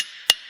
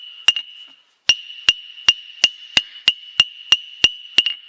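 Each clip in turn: First: One sharp hammer blow on the anvil's centre stops almost at once, a dead clack with no ring: a cracked face. Second: Eleven bright hammer strikes on an anvil horn, a clear high ring near 2.8 kHz, reasonably good despite the cracked body.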